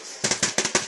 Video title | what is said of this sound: Butter Cookies - Spritz recipe but made like a regular cookie Taste AWESOME%21%21 | you kind of hear that hollow sound